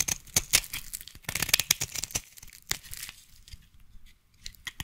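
A utility knife blade scrapes across a solid yellow bar of soap, shaving curls from it. Bright, crisp scraping and crackling bursts come densely for the first three seconds, then thin out into quieter, sparser scrapes.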